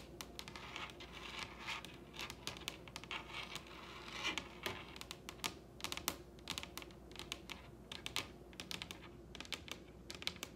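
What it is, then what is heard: Wooden tabletop tapped with fingernails. Long red acrylic nails tap across the surface of a large, solid wooden dining table in a light, irregular patter. Each tap is a short, bright click that dies away almost instantly, over a faint steady low background hum.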